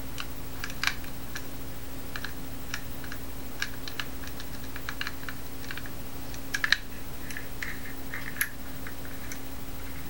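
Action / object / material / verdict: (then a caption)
tap / metal combination padlock / metal / none. A small teal-anodized Masterlock metal combination padlock with a steel shackle, solid and held in both hands, as fingers tap, scratch and turn its dial. Scattered light clicks and taps ring briefly in the upper mids and highs over a steady low hum, with a few sharper clicks standing out.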